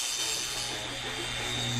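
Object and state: Nothing is struck.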